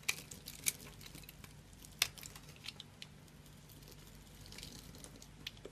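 A solid, hand-sized bar of dry orange soap is held in one hand and scraped and cut with a small metal blade, with crumbling pieces falling onto a pile of soap bits. The sound is a quiet, bright crunching and scraping made of irregular short crackles. A few sharper crisp snaps stand out near the start and around the two-second mark.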